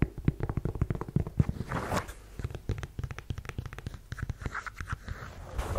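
Long yellow nails scratch and tap on the suede shaft of a black suede ankle boot with a chunky block heel. A rapid run of soft, dull taps mixes with dry, rustling scratches. The sound is mostly low and muffled, and each tap dies away almost at once.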